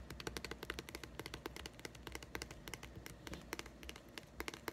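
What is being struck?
Small hollow plastic egg-shaped container.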